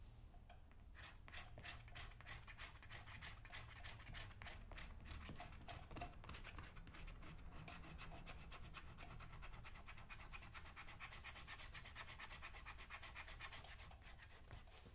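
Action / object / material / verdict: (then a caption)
scrape / leather boot upper scraped with a small metal tool / leather / none. A small metal scraper held in the fingertips is drawn again and again across the toe and vamp of a brown, solid-leather lace-up work boot. The boot is worn on a foot, resting on a shoe-shine stand and coated with a wet film of cleaner, while the other hand steadies it. The result is a steady run of quick, bright, rasping scrapes over a constant low rumble.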